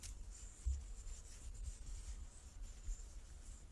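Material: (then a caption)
Wood. A large solid light-wood die with dark pips is turned in both palms while fingertips and nails rub and slide over its faces. The result is a quiet, soft scratching with a faint high hiss and low thumps as it shifts in the hands.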